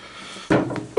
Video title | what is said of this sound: Bare Bones Wargaming: The Conquistadors: The Spanish Conquest of the Americas 1518-1548. Unboxing | you can hear it banging on the table so there's quite a bit here